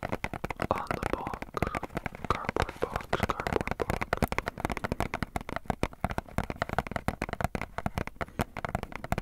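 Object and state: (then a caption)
Cardboard box. A small, hollow, printed cardboard box is held in both hands while fingertips and nails tap and scratch its panels. A rapid, continuous stream of dry, dull taps with soft scratching runs throughout, mostly low and mid-range with little brightness. Each tap stops almost instantly with no ring.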